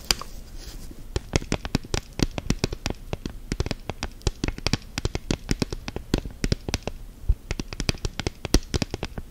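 Long gel nails tap rapidly on the back and sides of an orange silicone phone case fitted on a smartphone lying flat. Dozens of quick, dry clicks sound, each with a bright tip over a soft low thud. Every tap dies away almost at once.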